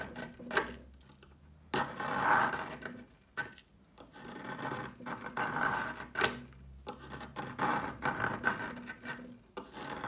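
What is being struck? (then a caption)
Chalk stick scraped with a peeler blade. A yellow plastic peeler with a metal blade scrapes along a solid, palm-length rectangular stick of pale yellow chalk held on a marble surface, shaving off crumbly flakes. Each pass gives a dry, raspy scrape with a gritty midrange texture, separated by short quiet pauses.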